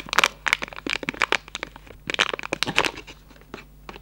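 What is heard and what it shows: A hollow Raffaello cardboard candy box is opened, its flaps and plastic window handled and rubbed with fingertips. Quick, bright crinkles and dry crackles come in dense bursts, with two busy clusters before the rustling thins out into softer, sparse rubs toward the end.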